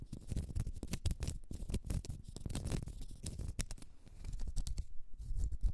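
A small solid round cork stopper held in the hand is scratched with long red acrylic nails. The result is a dense run of quick, dry scratching and tapping sounds with bright, crackly edges over a soft low rumble. The sounds swell and fade in short bursts with no talking.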